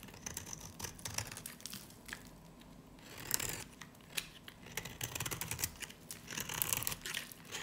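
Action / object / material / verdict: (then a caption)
scrape / varnished soap bar shaved with a blade / soap / none. A dry, solid yellow-green soap bar with a black varnished edge, held in the hand, is shaved with a utility knife blade. Dense bursts of crisp, bright scraping and crackling come in uneven waves, with brief quieter gaps between strokes.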